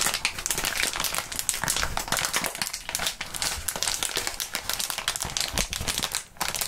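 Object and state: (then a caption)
Plastic bubble wrap being crumpled. Gloved hands crumple and crinkle a wad of clear plastic bubble wrap. A dense, continuous run of bright, crisp crackles and rustles fills the clip, with a brief lull near the end before the crinkling picks up again.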